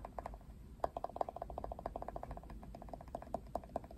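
A plastic paddle hairbrush with plastic pin bristles and pink trim has its bristles and handle scratched and tapped by fingertips and nails. The result is a dense run of quick, dry clicks and ticks with a hollow plastic tone around 690 Hz, each dying away almost instantly over a faint low rumble.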